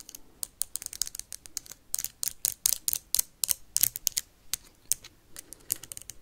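A small clear plastic hand sanitizer bottle with a white cap, holding liquid and held in the hand, is tapped and scratched fast with metal paperclips clipped onto long nails. About 29 sharp, bright clicks and scrapes come in an irregular rapid burst. Each one is crisp and dry with almost no ring or low end.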